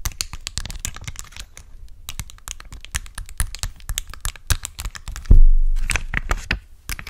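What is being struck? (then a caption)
Plastic sheet of acrylic gem stickers. A clear plastic sheet of colorful acrylic gem stickers, held above a microphone, is tapped and scratched with long acrylic nails. The result is a quick, uneven run of crisp, clicky taps with light scratching between them. Just past the five-second mark comes a single louder, bassy thump that fades out slowly before the tapping resumes.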